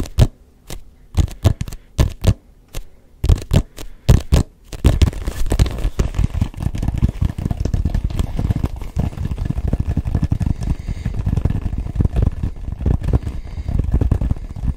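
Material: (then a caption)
Rubber. A neon yellow-green hollow rubber soccer-style ball with a grooved surface is turned in the hands and tapped with the fingertips. Sharp, separate taps with short silences open the clip, then give way to a dense, continuous run of rapid tapping and scraping. The sound is dull and mostly low.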